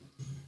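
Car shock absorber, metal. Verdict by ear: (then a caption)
Worn. An old, worn metal car shock absorber is pushed down by hand, and partway through its travel it gives a single dull, low knock with a short ringing tail. The knock comes from an internal cushion striking the valve because the shock has lost its compression, with its oil degraded to something like water.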